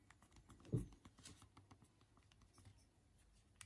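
Both thumbs type on the small, hard plastic keys of a BlackBerry phone's physical keyboard. A quiet, steady patter of short, soft, dull clicks follows, with one louder tap early on and another sharp click at the very end.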